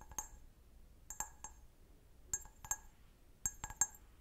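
A clear, hollow, empty stemmed glass goblet held sideways is tapped and scratched with long nails on its base and bowl. About nine sharp, bright clinks ring high and die away quickly. They come in irregular small clusters over a faint background.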